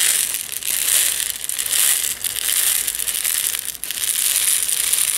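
A medium plastic jar with a yellow screw lid, partly filled with loose instant tea granules, is held in both hands by the fingertips and tilted or shaken so the granules roll inside. This makes a steady, bright, crackly hiss of tumbling grains with almost no low end. The sound swells and dips as the jar moves, with brief quieter gaps.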